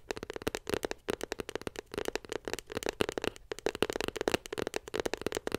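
Long pink nails tap rapidly on a small white glossy cardboard iPhone 7 Plus box held beside the mic. About thirty quick, dry clicks come in an uneven, crackling stream, each with a hollow tone around 420 Hz and a bright edge. Each click stops almost instantly, with no ring.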